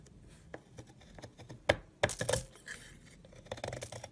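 A utility knife blade cuts thin shavings off a solid yellow egg-shaped soap bar held in the fingers. Irregular dry scraping and slicing strokes are heard, with a few louder crisp cuts in the middle and a bright, papery edge. Each stroke stops short with no ringing.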